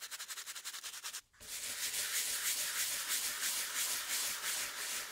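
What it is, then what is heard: Wooden board being scrubbed. A round brush held in a gloved hand scrubs the flat, solid wooden base board of a 1908 typewriter, which has wet patches on it. Quick, even bristle strokes rasp back and forth for about a second, then a brief pause. The scrubbing resumes louder and denser as a steady, bright, hissy rhythm with almost no low end.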